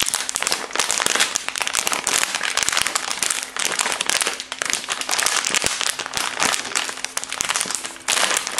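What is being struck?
Soft plastic packaging.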